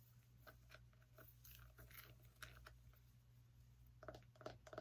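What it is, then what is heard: Small pumpkin, tapped and scratched. Long nails scratch and tap the ribbed rind of a small whole orange pumpkin held in the hand. Quick, uneven dry taps and scratchy crunches, with a hollow knock around 620 Hz, sit over a steady low hum. The sounds grow louder and denser toward the end.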